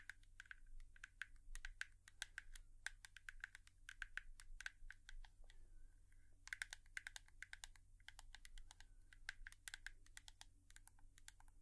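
A hairbrush is tapped with long nails in a quick, uneven stream of light, sharp clicks with a bright tone centred around 1.6 kHz. The taps pause briefly around the middle before resuming, over a steady low hum.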